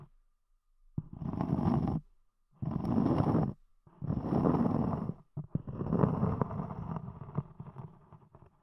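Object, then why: Round cork block. Long nails scratch across the top surface of a round, solid cork disc, with the fingertips lifting off near the edge in later passes. Four separate bursts of dry, rough, low-heavy scraping follow one another, the last one longer and trailing off into scattered ticks.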